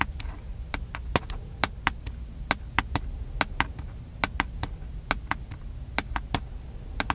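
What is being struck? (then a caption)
Plastic handheld camcorder. A small, hollow, black plastic handheld camcorder is held up near the face and tapped with the fingertips on its top and side. About two dozen short, dry, bright clicks come at an uneven pace and die away almost at once, over a steady low background rumble.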